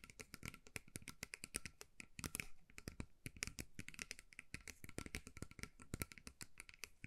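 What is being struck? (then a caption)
Bead-covered metal mug. A small hollow metal mug covered in colourful beads is held in both hands while long nails tap and scratch its beaded sides. The result is a quiet, rapid stream of dry, bright clicks and rattly scratches that stop at once without ringing, with a faint steady tone near 2.3 kHz.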